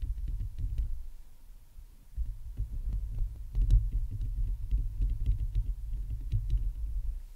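A Blue Yeti USB microphone with a hollow metal mesh grille, on a stand, is scratched and tapped with long painted nails and the fingertips of both hands. The result is a dense, low, booming thump and rumble with quick clicks and scratchy ticks on top, broken by a quieter stretch around two seconds.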